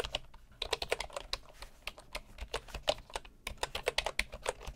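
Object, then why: Bamboo keyboard with wooden keycaps. Both hands type with their fingertips on a bamboo computer keyboard with wooden keycaps. The result is a quick, uneven run of short, dry, clicky taps with a hollow mid tone and bright tops, each dying away almost instantly.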